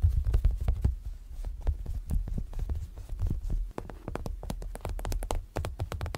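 Fingertips and fingernails tap and pat the clear PVC front cover of an A6-size planner binder with a printed insert and a red zipper edge, lying flat on a bed sheet. A rapid, uneven run of soft, dull thumps with a deep low body comes through, with faint crisp clicks on top and no ringing after each hit.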